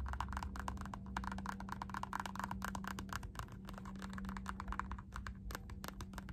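Long nails rapidly tap and scratch the embossed strap of a black synthetic rubber Puma slide sandal, a shoe-size piece of solid molded material. The result is a quick, dense stream of short, dry clicks centered around 1 kHz, with faint scratchy texture, over a steady low hum near 200 Hz and some low rumble.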